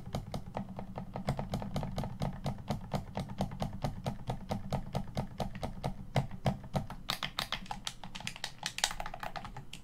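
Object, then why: Plastic game controller. Fingertips tap and press the top and bumper area of a hollow black plastic Xbox One controller. The result is a rapid, steady string of short, dry clicks over a low hollow thump. Toward the end the taps turn brighter and sharper, each dying away almost instantly.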